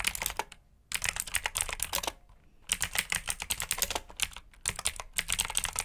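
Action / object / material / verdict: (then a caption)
tap / plastic mechanical keyboard / plastic / none. A black full-size plastic mechanical keyboard with clicky blue switches, plastic keycaps, RGB backlight and a hollow body is typed on rapidly with both hands' short fingertips. Bursts of bright, sharp clicks are separated by two short pauses, with each click dying almost at once.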